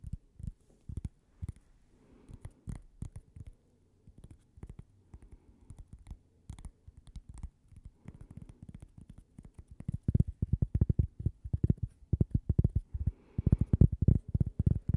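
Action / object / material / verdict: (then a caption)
tap / thin cork coaster / cork / none. A thin, solid, toast-shaped cork coaster with a logo on it, held up to the microphone, is tapped and scratched with fingernails. It gives a run of soft, dull, low taps with a short, dry decay and light scratching between them, growing louder and denser toward the end.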